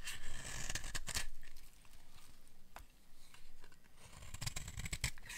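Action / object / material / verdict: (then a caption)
scrape / bar of soap scraped with a metal blade / soap / none. A metal blade scrapes shavings off the edge of a hand-sized, solid peach bar of dry soap. The strokes come as quick, crisp, irregular bursts of bright, scratchy grating over a low, dull rumble.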